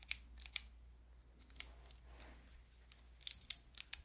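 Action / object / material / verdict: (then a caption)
tap / plastic keycap fidget toy / plastic / none. Long nails press and tap the white keycaps of a handheld fidget toy with a clear plastic frame, making about nine sharp, bright plastic clicks. The clicks are very short with almost no ring and come in loose bursts, with a cluster near the end. A faint low hum sits underneath.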